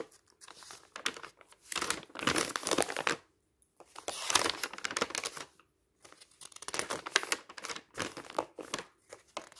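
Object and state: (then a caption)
Bundle of thin paper sheets being riffled. A loose bundle of thin printed office paper sheets lies on a pile while fingertips lift and riffle the sheets. Bursts of bright, crisp page flipping and rustling, with almost no low end, are broken by two short silences.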